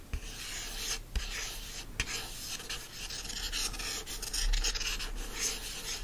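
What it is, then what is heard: Hardcover book cover scratched. Fingertips and short nails scratch and rub across the front cover of a solid yellow hardcover book, "You Deserve Good Gelato," with a cardboard cover wrapped in printed paper. It makes a steady, dense, bright rasping texture with a few sharper scrapes standing out. A low hum runs underneath throughout.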